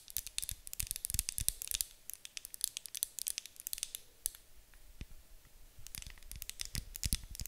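Long acrylic nails tap and scratch the sides of a medium white opaque glass candle jar with a gold lid, filled with wax and held in both hands. Rapid, bright clicks and dry scratches come in dense, irregular bursts with almost no ring, and short quieter stretches of light scraping fall between them.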